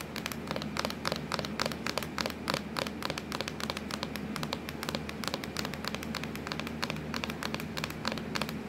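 Long acrylic nails tap and scratch quickly across a hollow, black textured plastic laptop lid. A dense stream of short, crisp clicks with a bright edge rides over a faint low steady hum.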